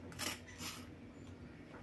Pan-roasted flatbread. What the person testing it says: कसं भाजलंय कुरकुरीत आवाज येतोय